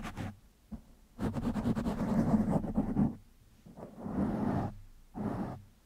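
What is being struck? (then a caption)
Foam microphone windscreen. Fingertips of one hand scratch a black foam windscreen on a microphone. The result is bursts of close, crackly rustling that stay low and mid in tone, with a long continuous stretch of scratching in the middle. Shorter scrapes come before and after, separated by near silence.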